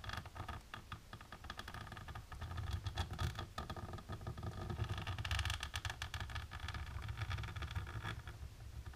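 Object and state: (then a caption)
Embossed plastic sheet. Long natural pink nails rapidly tap and scratch across a flat, dark, embossed plastic sheet. The result is a dense, continuous crackle of quick taps and scrapes, with bright bursts riding over a steady low rumble throughout.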